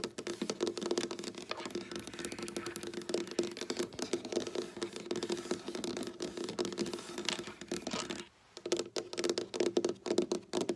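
Long black-polished nails tap and scratch with both hands on a flat, solid dark wooden tabletop with visible board seams. Quick, clicky taps and scratchy strokes patter steadily with a faint tonal ring, pause briefly near the end, then return in sharper bursts.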